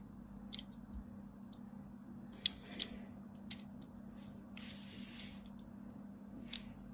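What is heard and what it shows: A small metal blade scrapes and carves along the lower edge of a solid white bar of soap with a crumbled side, held in the hand. The result is sharp, high scraping clicks at irregular intervals, each ending almost instantly, over a quiet, steady low hum.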